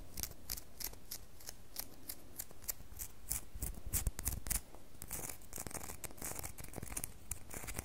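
A solid red bar of soap is held up in a hand and scratched with long fingernails. It makes a quick run of short, dry, bright scratches and clicks over a low, soft background. The scratches swell louder around the middle, then settle into a steady, lighter scraping.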